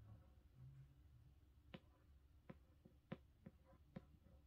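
Long pink-painted fingernails trace and tap across the glossy paper dust jacket on the front cover of a large, solid illustrated hardcover of A Game of Thrones lying flat on a carpet. After a soft, low rustle of tracing, five quiet, sharp clicks stand out, each dying away almost instantly. The sound is faint overall and mostly low-pitched.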